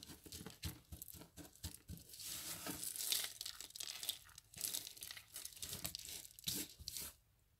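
Fingertips press and rub across a flat pile of dry crushed soap flakes spread on a patterned mat. The result is a soft, bright, crinkly crunching and rustling that comes in uneven bursts, then fades to near silence at the end.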